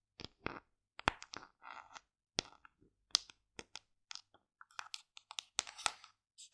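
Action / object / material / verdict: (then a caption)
tap / plastic tub / plastic / none. Long decorated nails tap the lid and sides of a large, hollow white plastic collagen tub in a quick, uneven run of short, dry clicks. The bright, crisp taps stop instantly with no ring, and some land in small clusters with faint scratchy scrapes between them.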